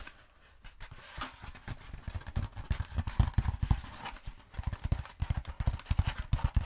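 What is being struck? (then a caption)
Bead foam roller. Long pointed acrylic nails tap rapidly on a long black bead foam roller, making dense, short, dull thumps that are mostly low in pitch. The taps come in quick, uneven bursts, some louder than others, with almost no ring after each one.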